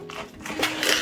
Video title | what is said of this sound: Пухкий ХЛІБ НА ЗАКВАСЦІ! Легкий та Простий Рецепт для Початківців! БЕЗ ДРІЖДЖІВ | Các bạn có nghe thấy tiếng giòn rụm không?